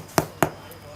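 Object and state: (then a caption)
Very ripe durian. A durian fruit is tapped twice, giving two short, dull knocks with a midrange body around 670 Hz that die away almost at once. The fruit is judged very ripe.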